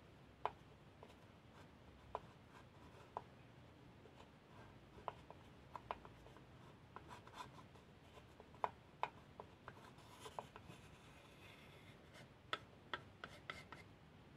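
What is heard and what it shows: The inside of a small, empty, unfinished wooden pencil box, made of plain light wood with a sliding lid and held open, is rubbed and scraped with a small painted wooden spoon. A quiet, steady hollow scratching runs throughout, broken by short, sharp wooden clicks and ticks that ring a mid-high tone and die away almost instantly.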